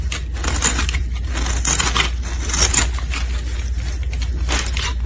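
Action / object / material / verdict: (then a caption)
scrape / bar of soap scraped with a metal blade / soap / none. A solid pink soap bar held in gloved hands is scraped with a metal blade, sending flakes falling. Repeated bright, crisp scraping strokes come in bursts over a steady low hum.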